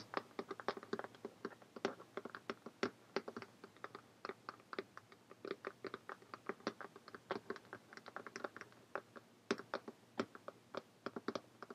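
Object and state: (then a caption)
Cloth-covered hardcover notebook. Long painted fingernails tap quickly on a closed, purple cloth-covered hardcover notebook lying flat. The taps are light, dry and clicky, coming in a fast, uneven patter with a faint mid-range knock and almost no low end, each one dying away almost instantly.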